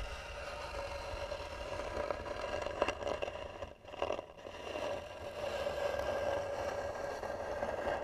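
Fingernails scratch slowly and hard across the hollow lid of a carved, varnished wooden box. The result is a continuous rough scraping with a steady tonal ring around 590 Hz. The scraping swells with a few brief louder scrapes and dips to near-quiet just before the four-second mark.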